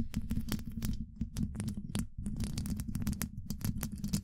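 Long pointed acrylic nails scratch rapidly across the rounded, hollow woven-metal mesh grille of a large condenser microphone. A dense run of short, dry scrapes and clicks sits over a steady low hum, with brief bright streaks on each stroke.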